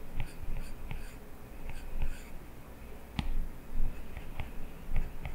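A plastic stylus tip scratches across the glass touchscreen of an iPad while drawing hair lines. Short, dry scraping strokes come in quick bursts with brief ticks of the tip on the glass. Under them sits a steady low hum.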